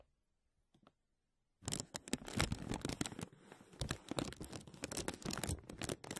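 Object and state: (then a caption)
Crinkling thin plastic bag. Fingers and nails crinkle and scratch a thin, clear, embossed plastic vacuum-seal bag stretched over a mesh mic dome. After faint soft touches, dense crackling, rustling and scratching set in at about 1.6 seconds. The sound is close and broadband, with sharp bright transients over a low rumble.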